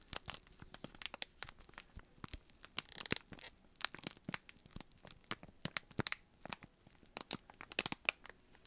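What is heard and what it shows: Fingertips press and rub the clear plastic cellophane sealing a small rectangular brown cardboard box held in both hands, making it crinkle. The result is a quiet, dense stream of sharp, bright crackles and crinkles with a thin hiss underneath and very little low end.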